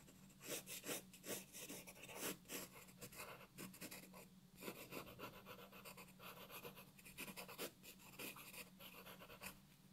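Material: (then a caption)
Paper. A wooden graphite pencil makes repeated short scratching strokes on a flat white paper sheet resting on a wooden desk, shading a drawing while the other hand rests on the paper. The strokes come as bright, raspy bursts of varying loudness over a faint, steady low hum.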